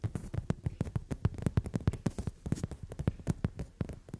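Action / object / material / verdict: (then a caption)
tap / padded leather sofa seat / leather / none. Both hands with long nails scratch and tap rapidly on a brown glossy leather sofa seat. The result is a quick, irregular run of soft, dull thumps, almost all low-pitched with hardly any brightness. Each tap dies away almost instantly.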